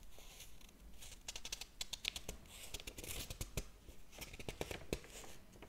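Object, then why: Hardcover book with paper pages. Fingers flip the paper pages of a large open hardcover book, then rub and tap them. Soft papery whooshes and scratchy rustles alternate with many quick, dry taps and crackles that carry bright high-end detail over a low rumble, all at a quiet, close level.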